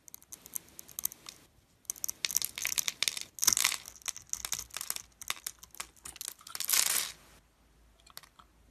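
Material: Glycerin soap.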